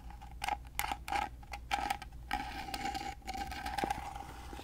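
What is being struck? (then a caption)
Small carved wooden box. Fingernails scratch and tap the carved lid of a small, rectangular, gold-painted carved wooden box that is hollow and held upright. Quick, sharp taps come in irregular bursts over a steady scratchy rustle, each ringing briefly with a hollow woody tone near 820 Hz. A faint low hum runs underneath throughout.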